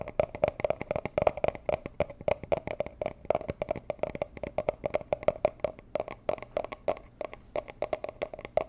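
Long nails tap rapidly and continuously on a small, hollow, rigid teal cardboard gift box used for jewelry. The taps are quick, dry clicks with a hollow mid-range knock and almost no ring, falling in a dense, uneven stream.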